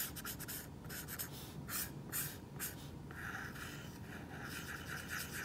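A plastic stylus tip rubs back and forth on an iPad glass screen fitted with a matte plastic screen protector, a flat solid surface, while coloring a crown yellow. The result is a quiet, steady scratch-and-rub with bright, hissy bursts as each stroke drags across the matte surface.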